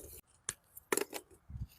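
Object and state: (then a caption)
Well-made charcoal (clinks). Pieces of homemade charcoal are knocked together close up, giving a few short, sharp, bright clinks with almost no ring, separated by quiet gaps and a low soft knock near the end. The clear clink marks well-made charcoal.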